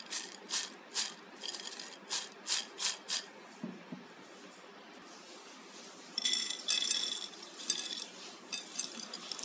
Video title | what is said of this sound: Kurkuri bhindi fry without corn flour / Bhindi fry / Kurkuri bhindi #bhindirecipe #ladyfingerrecipe | इसमें से कितनी कुरकुरी आवाज़ आ रही है